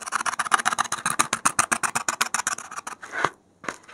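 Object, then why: Expanded polystyrene foam block. A gloved hand rapidly pricks and scratches the surface of a solid white expanded polystyrene (thermocol) foam block with a metal safety pin. It makes a fast, uneven run of short, dry, squeaky-scratchy strokes with a bright, hissy edge and a midrange squeak. Near the end there is a longer drawn scrape, a brief silence, and then a few final scratches.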